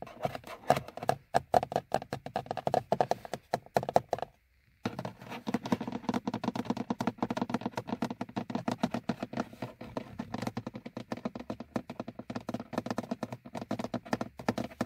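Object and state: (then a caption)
Plastic dashboard gauge hood. Fingernails of both hands tap quickly on the front face and top edge of a car's hollow, molded plastic instrument cluster hood. For the first four seconds the taps ring with a hollow, mid-pitched tone. After a brief pause, the tapping resumes as a dense, dry, fast patter with a lower, thuddier body.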